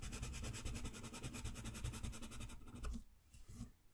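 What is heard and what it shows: A green wooden colored pencil shades a green area of a thin drawing-paper coloring page on a white desk, the sheet held in place by the other hand. Fast, even back-and-forth strokes make a steady, rhythmic scratchy rubbing with a bright, papery texture for about three seconds. The strokes then turn fainter and more sparse toward the end.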